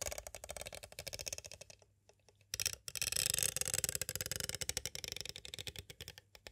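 Two green twisted wire-like tools tap and trace along the surface of a clear hard plastic cassette tape case with a paper insert, held upright. Quick, bright, crisp clicks come in rapid runs, pause briefly near the middle, then return as a denser, scratchy stream of tapping. The taps are high and dry, with almost no ring.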